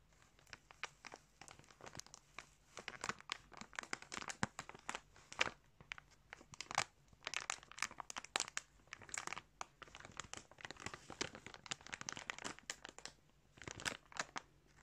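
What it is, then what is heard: Plastic bag crinkled by hand. A small clear plastic bag with a barcode label, holding pink yarn, is held up in a hand while fingers squeeze and crinkle the plastic. Dense, bright crackling comes in bursts, with brief pauses between them, over about fifteen seconds.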